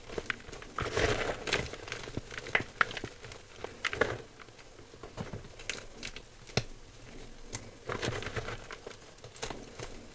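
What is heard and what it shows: A pile of dry, crushed white gym chalk (magnesium carbonate) in a clear bowl is squeezed and crumbled by fingertips. It makes soft crinkly crunching and gritty crackles, with short bright clicks and brief louder bursts in between quieter rustling.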